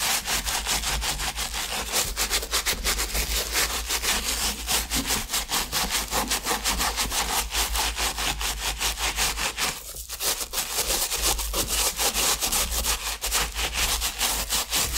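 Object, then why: Leather sneaker heel scrubbed with a bristle brush. A wooden-handled bristle brush scrubs the heel and collar of a hollow, empty white leather Asics sneaker with a gold heel tab, which rests on a towel and is held steady by the other hand while wet foam builds up. The sound is a steady, rapid run of bright, rasping back-and-forth brush strokes over a low hum, with a brief dip near the ten-second mark before the scrubbing carries on at the same pace.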